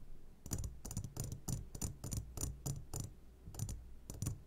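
A medium glass jar, turned upside down and full of sugared gummy candies, is tapped on its sides with the short fingertips of both hands. The result is a quick series of bright, clicky taps with a short ring, each followed by a dull low thud over a faint low hum.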